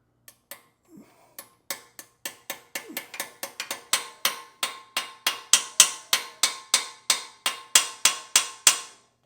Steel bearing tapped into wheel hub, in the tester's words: you can hear the sound change as it starts to bed into the inside little piece right there, that groove that it hits against